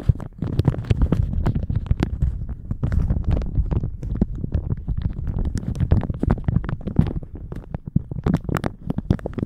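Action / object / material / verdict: scrape / thin plastic shower cap / plastic / none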